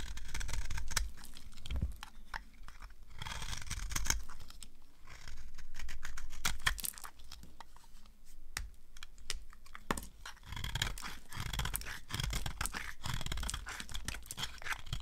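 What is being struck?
Bar of soap cut with a blade.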